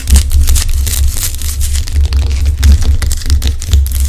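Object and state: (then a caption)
Rock-salt lamp. Long acrylic nails scratch and tap the rough crystalline surface of a large, solid pink Himalayan rock-salt lamp, making bright, dry crackling scrapes and quick, short taps. A steady low hum runs underneath throughout.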